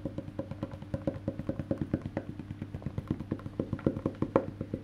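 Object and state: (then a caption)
Wooden electric bass body tapped. Fingertips tap the solid, black-painted wooden back of a face-down electric bass guitar beside its metal neck plate, making 36 quick, dry knocks in a steady, slightly uneven rhythm. Each tap is short with a hollow, woody midrange tone and dies almost instantly, over a faint, constant low hum.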